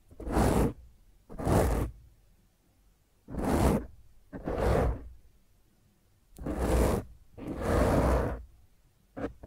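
Fingertips and long nails of both hands scratch and rub the top of a black foam microphone windscreen. Seven rough, rushing bursts of scratching follow one another with short quiet gaps between them. Each burst is broadband and strongest in a deep, rumbling low end.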